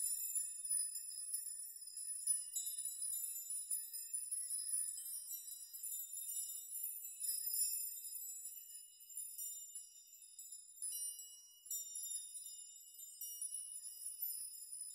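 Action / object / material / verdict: shake / hanging metal nail chime / metal / none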